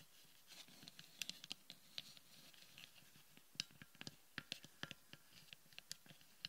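Long painted nails tap and scratch the upper dome of a palm-sized hollow sphere of frosted white plastic resting on a wooden table. Quick, bright clicks and ticks ring out with almost no ring, scattered irregularly over a soft, steady scratchy hiss.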